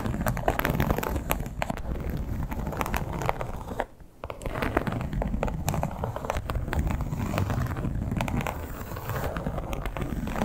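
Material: Leather.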